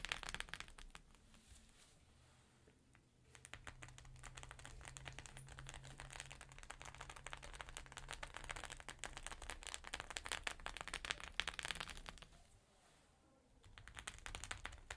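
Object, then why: Sequin fabric pouch. Fingernails tap rapidly across the plastic sequins of a flat rainbow sequin pouch, making quick, bright, crinkly clicks with a faint low hum underneath. The tapping comes in dense, uneven bursts, easing off briefly early on and again near the end before picking back up.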